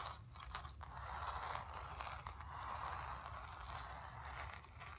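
Long nails scratch across the surface of a painted stretched canvas. The sound is a steady, dry, raspy scraping centered in the midrange, with quick bright ticks and a faint low rumble underneath, holding at a fairly even level for about five seconds.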